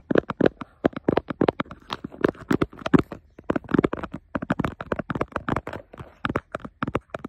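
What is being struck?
Textured plastic laptop lid.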